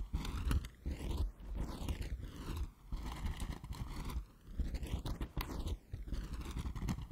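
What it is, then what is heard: Cardboard box. A closed, hollow, rectangular printed cardboard gift box with a yellow, white and black "BANANA" print is held in both hands and tapped and scratched with fingertips and nails. The result is a steady stream of dull, muffled scraping and soft tapping, heavy in the low end. A swirling, sweeping filter effect moves over the sound.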